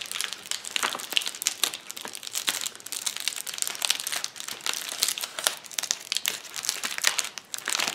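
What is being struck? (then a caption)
Plastic bubble wrap sheet. Knuckles and fingertips press, pop and scratch a flat sheet of clear plastic bubble wrap lying on a table. The result is a dense, continuous run of bright crinkling and crackling, punctuated by many sharp, quick pops with almost no low end.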